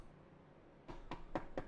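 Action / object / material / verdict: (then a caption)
knock / wooden desk / wood / none. Knuckles knock on a wooden desk four times after nearly a second of quiet. Each knock is a short, dull, low-pitched thud that dies away quickly.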